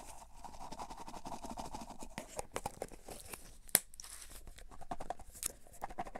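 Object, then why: Plastic tub of cotton swabs. A cylindrical clear plastic tub with a printed label, full of cotton swabs, is turned and tapped with fingertips and nails while the swabs shift inside. A dense, crinkly, crunching rustle runs throughout, broken by quick dry clicks and one sharper, brighter tap near the middle.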